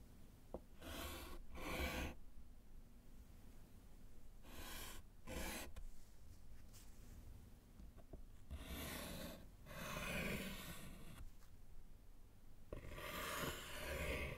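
A gloved hand writes with yellow chalk on a small, solid slate board set in a wooden frame, making scratching strokes. Short bursts of dry, bright, broadband chalk scraping come in clusters separated by quiet pauses, over a steady low hum.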